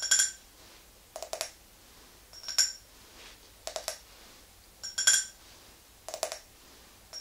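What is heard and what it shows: Long nails tap and scratch on an empty clear glass tumbler with a ridged base held in the hand. Bright, ringing glass taps alternate with short clusters of dry scratching clicks in a loose repeating pattern, separated by near-silence.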